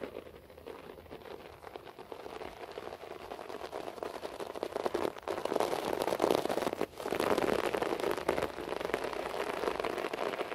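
Fingernails from both hands scratch quickly across a beige short-pile floor carpet, making a dense, crackly rasp that sounds like rain on a surface. The scratching is quiet at first and grows fuller and louder after about four seconds. It breaks off briefly twice before continuing steadily to the end.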